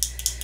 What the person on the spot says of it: if you hear that noise it's actually a bead mixing up the color